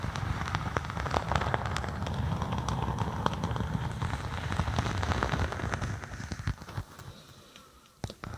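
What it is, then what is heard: Faux snakeskin vinyl sheet. Long acrylic nails scratch and tap a thin, flexible faux snakeskin vinyl (synthetic leather) sheet draped over a binaural microphone, with a hollow space underneath. A dense, crackling rustle runs over deep, bassy thuds from the taps. After about six seconds it thins and fades, then a few sharp taps come near the end.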